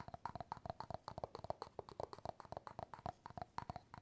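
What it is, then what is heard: Bamboo jar lid tapped. Fingertips and nails rapidly tap and scratch the bamboo lid of an empty glass jar, producing about 28 quick, quiet taps. Each tap is dry and short with a hollow, mid-pitched tone near 650 Hz and almost no ring.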